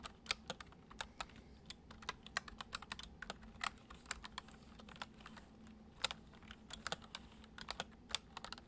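Fingertips type continuously on a white plastic computer keyboard, giving about 35 short, bright, dry key clicks in an uneven rhythm. A faint low steady hum sits underneath the quiet tapping.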